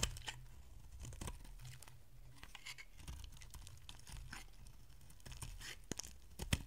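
A solid, rounded bar of dry pink soap is held in the hand and shaved into curls with a metal utility blade. The repeated scraping, tearing strokes come through as soft, dry crunches with bright edges over a low background rumble, and a few sharper cuts stand out near the end.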